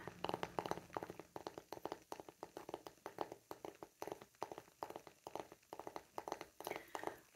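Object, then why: Small round wooden lid. A palm-sized, thick and apparently solid round disc of light grained wood, probably a lid or coaster, is held in one hand and tapped with short fingernails and fingertips. The result is a quiet, rapid series of short, dry clicks and knocks with a mid-range tone around 836 Hz and almost no ring, falling into uneven rhythmic bursts.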